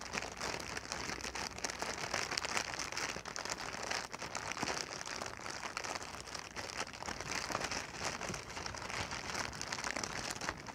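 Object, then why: Inflated plastic packing air pillow. A clear, hollow, air-filled plastic packing pillow held in the hands is squeezed and crinkled with fingertips and long nails. The result is a steady stream of dense, bright crinkling and crackling with very little low end.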